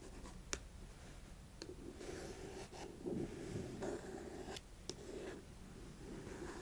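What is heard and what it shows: Long acrylic nails scratch and tap across the front panel of a small, closed, printed cardboard Fitbit Versa 3 box lying on carpet. Soft, papery scratching swells and fades, broken by a few sharp, bright clicks from the nail taps.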